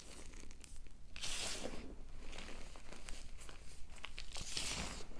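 Two hands with long nails squeeze, rub and crumble chalky clumps of white gym chalk (Ader and BSN blocks) into a heap of powder. The result is a steady stream of soft crunches and crinkly crumbling, with bright, hissy bursts swelling near the start and again near the end over a low rumble.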